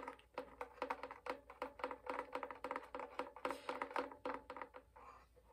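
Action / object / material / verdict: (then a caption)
tap / wooden violin body / wood / none. The varnished top and upper body of a hollow wooden violin are tapped with fingernails and fingertips. About thirty quick, uneven taps sound as short, dry knocks with a hollow resonant tone around 500 Hz, each fading almost at once. The tapping thins out toward the end.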